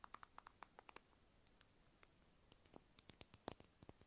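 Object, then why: Small round plastic lip balm container. A small, hollow, light-blue round plastic lip balm egg is held in hand near the microphone and tapped and scratched with long acrylic nails. A quick run of sharp, clicky taps with a bright edge is followed by a quieter stretch of faint scratching, then more scattered taps. Each hit is very short and dry, with no ring.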